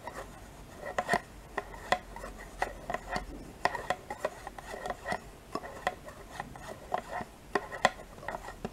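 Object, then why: Thin plastic yogurt cup and metal spoon. A metal spoon scrapes along the inside walls of a small, thin, two-compartment plastic yogurt cup that is mostly empty with yogurt residue left in it. The result is a series of short, dry scrapes and clicks with a hollow plastic tone around 750 Hz, each dying away almost at once.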